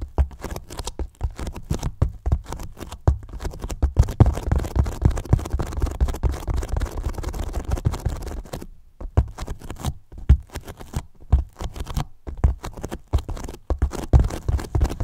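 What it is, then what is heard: Polyethylene foam box. Fingertips of both hands scratch and tap the top of a large, hollow white polyethylene foam box. Dense, dull scratching mixes with soft, hollow low thumps, turning into a steadier rubbing scratch in the middle before returning to irregular taps and scrapes. The taps stop at once with almost no ring.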